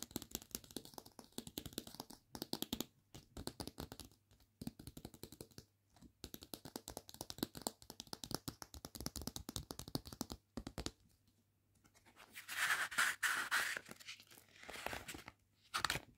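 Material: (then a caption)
Paper. Long nails rapidly tap and scratch the soft card cover of a thin children's paperback picture book, making dense, dry, crackly clicks for about ten seconds. After a brief pause, the paper pages are turned with a bright, airy rustle and a final quick flick at the end.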